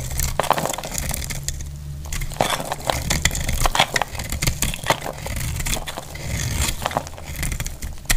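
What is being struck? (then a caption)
Soap bar shaved with a metal blade. A metal blade shaves curls from a solid, dry dark red soap bar held in the hand. A quick run of dry, crackling scrapes and crunches follows, each sharp and short with no ring, over a steady low hum.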